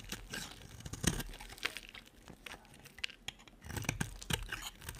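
A solid, dry cream-coloured bar of soap, held in the hand, is scraped and shaved with a metal blade in repeated cutting strokes that leave crumbly shavings. Dry, crunchy scraping and crackling fill the clip, with sharper, brighter bursts standing out between quieter rasping passages.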